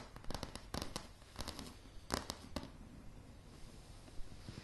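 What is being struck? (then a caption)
Wooden plank floor tapped with fingernails. Long polished nails tap on a light, solid wooden plank floor, recorded close-up. Quick, crisp clicks come in irregular clusters, each with a short, dry knock and a bright edge that dies away almost instantly. The tapping thins out toward the end, leaving a quiet stretch broken by one last soft tap.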